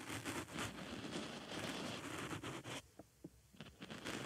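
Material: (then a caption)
Foam. A wooden stick scratches and pokes the surface and hole of a small white foam makeup sponge fitted over a binaural microphone ear. Dense, crackly, close-up scratching fills the first part, then drops quieter, broken by short, sharp squishy pokes before the scratching returns.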